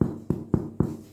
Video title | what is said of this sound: Pain au levain Recette et astuces | le truc pour savoir si le pain est cuit, c'est de cogner en dessous. Le pain est censé faire un bruit creux